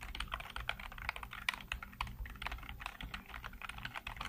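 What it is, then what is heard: Plastic computer keyboard being typed on. Fingertips type rapidly on the keys of a black plastic backlit computer keyboard. The result is a fast, steady stream of short, crisp clicks and clacks with bright, papery edges over a faint low hum. Each keystroke dies away almost instantly.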